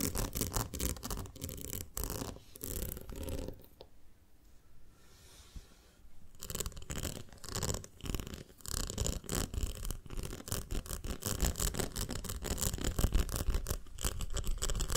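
Long nails tap and scratch the sides of a ribbed, round glass jar full of honey, with one hand moving closer. Quick, uneven bursts of tapping and scraping carry a low, muffled body and a brighter scratchy top. They pause into a quieter stretch around the middle, then resume more densely and slightly louder.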